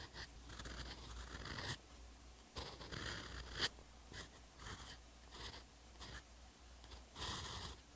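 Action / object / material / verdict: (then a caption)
scrape / steel fountain pen nib on paper notebook page / paper / none. A steel EF fountain pen nib on a TWSBI Eco writes Korean in short strokes across the textured paper page of a hardcover notebook, the page lying solid and flat. The nib gives bright, dry scratching and gliding bursts, separated by brief pauses and a low, steady background hum.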